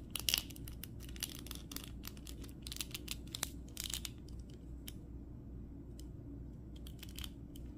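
Fingertips bend the knee and ankle joints of a red plastic The Flash action figure (2023) back and forth, producing a run of crunchy, bright clicks and crinkling creaks from the legs. The clicks come in clustered bursts over a steady low hum.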